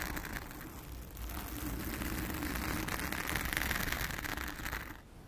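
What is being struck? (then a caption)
Foam microphone windscreen. Long acrylic nails of both hands scratch the blue foam cover on a round studio microphone. The result is a steady, crackly, close-up rustling with a bright hiss and a low rumble, swelling slightly in the middle before dropping off sharply near the end.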